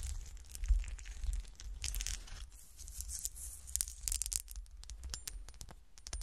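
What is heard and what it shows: Fingernails scratch and tap a small, solid, frosted cut-glass golf shoe ornament with a textured surface, first standing upright and then held in the hand. Dense, bright scratching and crinkly tearing-like rasps are punctuated by short, sharp clicks, over a steady low hum.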